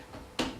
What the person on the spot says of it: it sounds like metal sitting on top of plastic